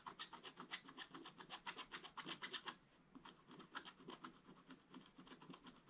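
A wooden stylus scratches fine details into a black coated scratch-art paper page in a book. A quick, steady run of short, bright, raspy strokes pauses briefly near the middle, then continues slightly softer to the end.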